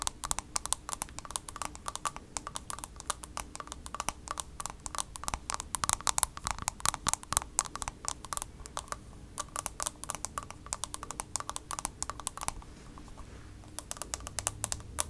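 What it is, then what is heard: Plastic compact case. Long nails tap quickly and continuously on the hard plastic shell of a small pale pink heart-shaped makeup compact. The result is a dense stream of sharp, bright clicks that die away almost instantly, with some bursts louder than others, over a faint steady low hum.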